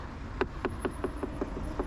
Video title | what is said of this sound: CFMOTO 675SR-R Review – Sound, Build & Details! (2025) | the sounds plastic but very high quality plastics